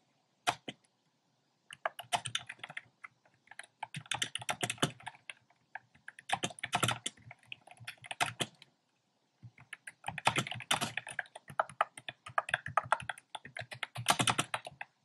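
Fingertips type fast on a compact plastic mechanical keyboard with a black plastic case and round pastel plastic keycaps. Bursts of quick, clacky keystrokes, bright and crisp with a little low thock, come in several runs separated by short pauses.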